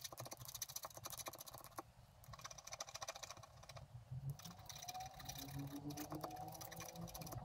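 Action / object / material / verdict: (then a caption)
scrape / black-coated scratch art paper card scratched with a wooden stylus / coated paper / none. A wooden stylus scratches repeated grass strokes across the bottom of a flat, black-coated scratch art card lying on a table. The result is a dense run of quick, dry, bright scraping ticks over a low rumble, with some faint tonal hums rising in the second half.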